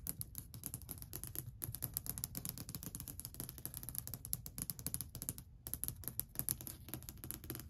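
Long white acrylic nails tap and scratch quickly near the front edge of a long, solid, varnished wooden shelf. The result is a dense run of dry, bright clicks over a low woody thud and a scratchy rasp, each tap dying away almost instantly. The tapping pauses briefly just past the midpoint, then resumes.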